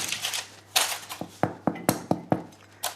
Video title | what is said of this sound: Prix et goût imbattables: le boom du pain maison ! - Tout compte fait | ça sonne creux c'est que c'est bon et que c'est cuit